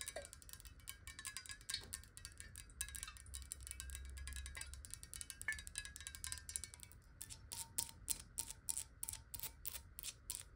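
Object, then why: Glass bottle with water. Long nails tap quickly on the sides and base of a clear, square, hollow glass bottle holding water, tilted in the hand. The taps are rapid, bright, dry clicks with a faint glassy ring and a low rumble underneath. Over the last few seconds they become more spaced and distinct.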